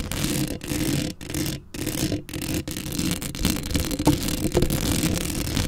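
Both hands with very long acrylic nails scratch quickly across the round, hollow metal wire-mesh grille of a large black Blue Yeti–style USB microphone held up close. The result is a dense, steady rasping scratch with a heavy low rumble and brief gaps, as the strokes come in fast, uneven bursts.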